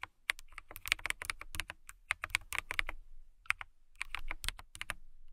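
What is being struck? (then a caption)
Clear acrylic mechanical keyboard. Fingertips and long nails type on a transparent acrylic mechanical keyboard with clear plastic keycaps. The result is a fast, steady run of sharp, bright clicks centered near 2 kHz, with a soft low thump under each keystroke. The clicks stop briefly around the three-second mark, then the typing resumes.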